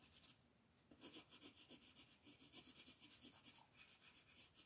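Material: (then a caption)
Paper. The green lead tip of a wooden colored pencil, held in the fingers, shades back and forth across a thin printed mandala sheet lying flat on a table. A few quiet strokes come first, then a brief pause. A steady run of quick, rhythmic scratchy rubbing follows, bright and papery with little low end.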